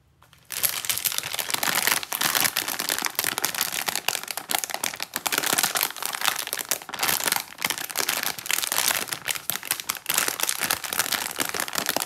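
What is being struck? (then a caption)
Plastic film candy bag full of wrapped sweets. A medium printed plastic film bag of Krowka milk fudge candies, full of individually wrapped candies, is held, squeezed and turned over with fingertips and long nails. After a brief quiet start, dense bright crinkling and rustling of the film runs continuously, with the candies inside shifting in quick crackly bursts.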